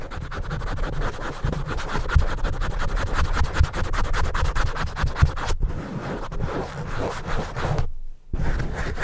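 A black foam windscreen on a handheld microphone is scratched and rubbed quickly with the fingertips and nails of one hand while the other hand holds it, and a second microphone stands untouched nearby. The result is a dense, continuous, muffled low scratching and rustling, heavy in the bass, with brief pauses near 5.5 and 8 seconds.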